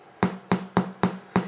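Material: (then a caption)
Bread. A freshly baked Irish brown soda bread loaf is picked up and tapped five times on its bottom, giving short, dull, hollow knocks with a low tone that die away quickly. The hollow sound shows the bread is baked through and ready, matching a knife test that came out clean with no damp dough on the blade.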